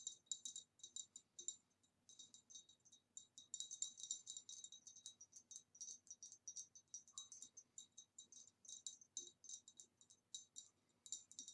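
Tapping on a green retro glass vase produces quick, bright, high clinks that come in irregular bursts and clusters. Each tap dies away almost instantly, leaving a crisp, tinkly rattle with almost no low end.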